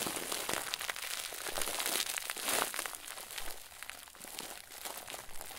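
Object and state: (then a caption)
Stuffed plastic bag crinkle ball being crumpled. A head-sized, round white plastic bag, tied and stuffed full into a crinkle ball, is squeezed and crumpled by the fingers and thumbs of both hands. It makes a dense, continuous bright crinkling with many quick, sharp crackles. The sound swells to its loudest in the middle, then settles into softer, quieter rustling.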